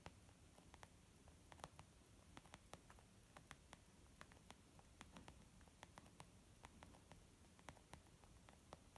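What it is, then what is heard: Leather makeup bag tapped. Slow, gentle tapping on a leather makeup bag produces a steady series of soft, quiet taps. Each tap is short and dry and dies away almost at once over a low, hushed background.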